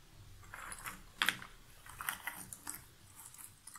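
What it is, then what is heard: Cardboard jigsaw puzzle pieces. Long nails stir and rummage through a pile of loose cardboard jigsaw puzzle pieces in an open box. A soft, dry rustle runs throughout, with bright clicks and a brief sharper clatter as the pieces knock together.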